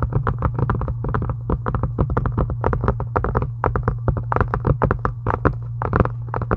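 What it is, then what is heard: Faux leather journal cover. Long acrylic nails tap quickly on a solid, pink, embossed faux-leather journal cover. The result is a dense run of short, dry clicks with almost no ring, over a steady low hum.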